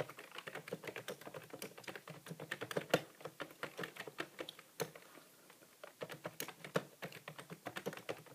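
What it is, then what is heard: Plastic computer keyboard. Fingertips of both hands type continuously and fast on a grey, full-size plastic computer keyboard with a hollow housing and plastic keys, resting on a desk. Dozens of quick, short plastic clicks and taps follow each other with a bright edge, pausing briefly just past the middle before the typing resumes.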